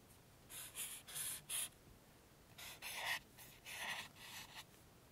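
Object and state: Felt-tip marker scratching on book paper.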